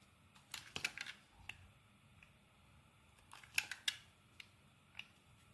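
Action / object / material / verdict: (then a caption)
scrape / soap bar shaved with a thin metal blade / soap / none. A palm-sized, solid purple-and-white marbled bar of soap, held in the hand, is shaved with a thin metal blade in scraping, carving strokes across its surface. The strokes come as quiet, crisp, bright scrapes and clicks, bunched in two clusters with fainter single strokes between, each dying away almost at once. The sound is mostly high with almost no low end.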